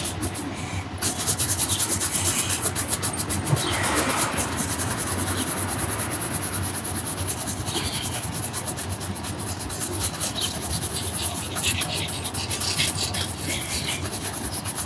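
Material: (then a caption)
Leather. A black leather Dr Martens ankle boot with a rubber sole, worn on the foot, is rubbed and brushed with a handheld red-and-black shoe brush. Quick, steady brushing strokes make a continuous scratchy rustle with a bright, hissy top, over a faint background rumble.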